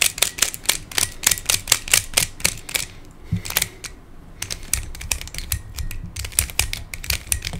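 A hand-sized black plastic Pyraminx pyramid twisty puzzle with coloured stickers and a hollow mechanism is twisted by fingertips. It makes rapid, bright plastic clicks and creaks in quick bursts, with a brief quieter pause in the middle.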